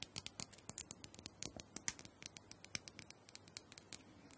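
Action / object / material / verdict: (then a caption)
tap / plastic dome massager / plastic / none. Long pointed nails tap and scratch the top and sides of a small, hollow, purple plastic dome massager held in the hand. About 29 quick, sharp, bright clicks ring out with almost no ring-out, over a faint scratchy rustle. The sound is mostly high-pitched and quiet.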